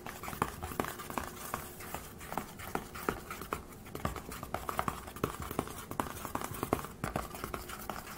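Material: Aluminium.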